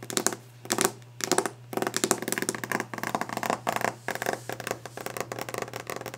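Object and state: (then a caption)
Varnished wooden desk. Long painted nails and fingertips tap and scratch quickly and hard on the glossy varnished surface of a large solid wooden desk top. Dense bursts of sharp clicks and bright scraping rasps come in rapid clusters with short pauses, over a faint steady low hum.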